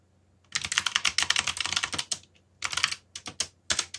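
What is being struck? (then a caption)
Mechanical computer keyboard with plastic keycaps. Fingertips type on a backlit mechanical computer keyboard with plastic keycaps, making rapid, bright, clicky keystrokes with very little low end. A dense run of taps lasts about a second and a half, then a short pause, another quick flurry and a few scattered final presses.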